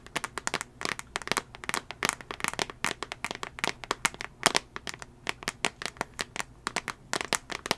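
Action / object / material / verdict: tap / glass tablet touchscreen in a plastic case / glass / none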